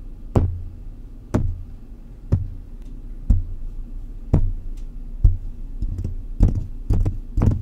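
Fingertips of both hands tap around the hollow wire-mesh grille of a silver metal condenser microphone. Each tap is a deep, dull thump with a short bright tick at the start and a brief low boom after it. The taps come about once a second at first, then cluster closer together toward the end.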